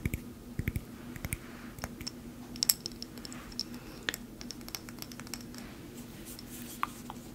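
Long painted nails tap and handle a small cork-stoppered glass bottle filled with green plastic buttons, and the bottle is shaken so the buttons rattle inside. The result is quiet, scattered, sharp, bright clicks and ticks that die away almost instantly, over a steady low hum.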